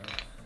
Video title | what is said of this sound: Avoid These Mistakes! Troubleshooting LG Dryer TE1 and TE2 Error Codes | So it should shake now, it should rattle.